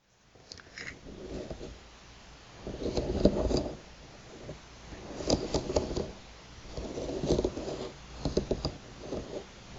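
Long, pointed, polished nails scratch and tap across a flat bamboo table mat with solid thin slats, lying on a table, on a hand wearing metal rings. Dry, rasping scratches rise and fall in waves, broken by sharp, clicky taps that stop at once with no ring.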